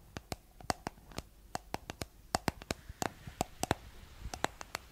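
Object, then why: Plastic cosmetic jar. Long nails tap the white plastic lid of a round, palm-sized, hollow cosmetic jar with a blue body, making 21 quick, dry clicks in an uneven rhythm. Each tap is sharp and bright with a faint hollow tone and dies away almost instantly.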